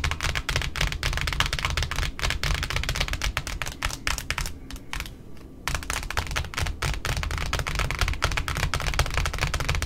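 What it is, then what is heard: Cardboard ribbon spool. Both hands tap rapidly with long pointed nails on the flat face of a large white cardboard ribbon spool resting on a wooden table. The result is a dense, uneven stream of quick clicky taps with a hollow low thump under bright nail ticks. The tapping eases briefly into a softer, sparser stretch around the middle before picking back up.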